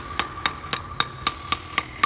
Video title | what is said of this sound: Bridge Repair Companies In Evergreen Colorado | You hear how hollow that is.